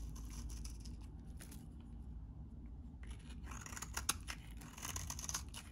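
A utility knife blade shaves and scrapes curled shavings off a solid, hand-sized, very dry vintage orange soap bar held in one hand. Crisp, bright scraping rasps come in bursts over a steady low rumble, with a quieter stretch in the middle. The scraping returns denser and brighter, with one sharp snap near the end.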